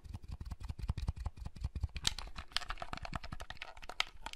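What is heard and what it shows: Fingertips press the buttons and handle the shell of a small, hollow, red plastic folding handheld console. The result is a rapid, steady stream of dry plastic clicks and taps, with soft low thumps under bright, crisp ticks. Each click dies away almost at once.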